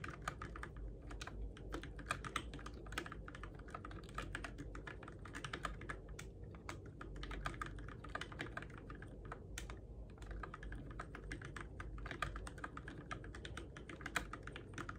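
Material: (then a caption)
Plastic. Fingertips tap the plastic keycaps of a Keychron K6 compact RGB-backlit mechanical keyboard, used in the dark, in a steady stream of quick clicky keystrokes. Each short, sharp click dies away almost at once over a constant low rumble.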